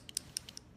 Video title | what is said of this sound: LipSense First Time User tips and Praline Rose Demo! | you'll hear that ball in there shake that up really really good